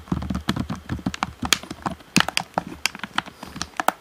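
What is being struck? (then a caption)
Plastic game controller. Fingertips tap the shell and buttons of a hollow black plastic Xbox One controller. About eighteen quick, irregular taps are heard, each a dry hollow knock with a bright plastic click that dies away almost instantly.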